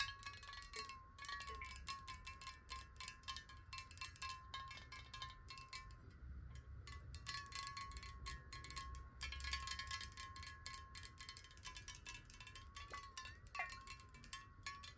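Long acrylic nails tap fast on the sides of a large, clear, hollow glass water bottle held horizontally in both hands and partly filled with water. The quick, light taps ring like bright chimes over a steady tone near 1.1 kHz, with brief pauses between bursts.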